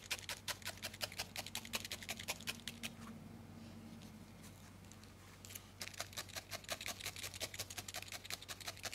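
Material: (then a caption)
Wool. A thin steel felting needle repeatedly stabs a small solid ball of grey-white felted wool held between fingertips, close-up. Quick, crisp, bright ticks come in a fast, fairly steady rhythm, stop for about three seconds in the middle, then resume. A low steady hum runs underneath throughout.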